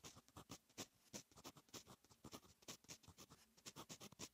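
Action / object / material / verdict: scrape / metal fountain pen nib on notebook paper / paper / none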